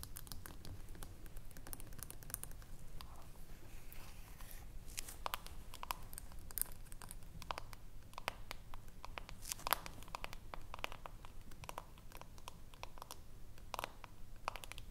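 Long nails rapidly tap and scratch the top of a small, round, hollow metal screw-top jar lid with a green rim, held between the hands. The result is a quiet, dense stream of sharp, bright clicks and scraping sounds over a low steady hum.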